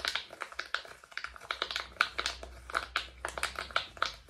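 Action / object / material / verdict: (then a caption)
tap / silicone pop-it fidget toy / silicone / none. A rainbow silicone pop-it fidget toy with hollow bubbles is held in both hands in front of a microphone while fingertips press and pop the bubbles repeatedly. About twenty short, dry, bright pops and clicks sound in quick, uneven succession, each dying away almost instantly over a faint low hum.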